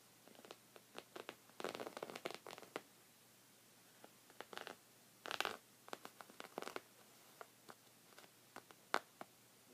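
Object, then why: Thick knit fabric rug. Short red fingernails scratch a thick, cream, textured woven knit rug of soft fabric. The result is many quiet, dry, fibrous scratches in brief bursts and denser flurries, bright with almost no low end. Each stroke stops dead with no ring.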